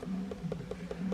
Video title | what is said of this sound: Building The HURACAN - Laying Wire | if i tap on this it's also just a hollow piece of fiberglass there